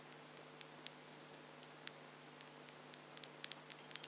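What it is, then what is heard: Acrylic false nails clicking. Long French-tip plastic acrylic false nails are clicked and tapped nail against nail between both hands, producing about seventeen short, sharp, bright clicks at an irregular pace. Each click dies away almost instantly over a quiet background with a faint steady low hum.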